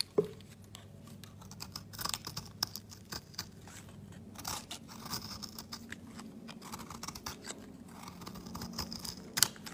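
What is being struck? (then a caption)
Bar of soap scraped with a metal blade. A metal blade scrapes thin curls from a solid marbled yellow-white soap bar held at the fingertips. The result is a quiet run of soft, dry scratching and crunching strokes with bright edges, each one brief with no ring, and a few louder scrapes stand out along the way.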